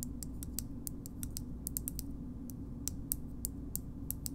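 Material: Plastic.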